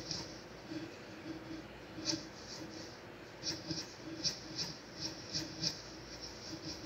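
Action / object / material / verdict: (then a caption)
scrape / graphite pencil on a sheet of drawing paper / paper / none. A black mechanical pencil held in the fingertips shades and sketches with graphite across a single thin sheet of drawing paper lying flat on a grey desk. A soft, steady scratching hiss runs throughout, with brighter, sharper stroke accents standing out at irregular intervals.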